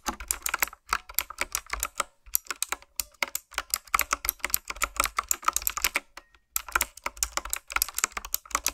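Fingertips with long nails type on a retro-style, typewriter-look mechanical keyboard with round plastic keycaps. The result is a rapid stream of sharp, bright, clicky keystrokes with very short decay, broken by two brief pauses.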